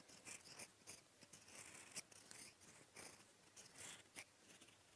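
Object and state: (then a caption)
Fountain pen writing on lined paper. A gold metal fountain-pen nib held in the fingertips writes in blue ink on a sheet of lined writing paper. Soft, bright, dry scratching strokes come in uneven bursts, with a few sharper ticks where the nib catches the page.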